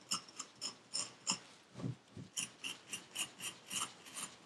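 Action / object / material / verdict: scrape / kinetic sand in a paper cup / sand / none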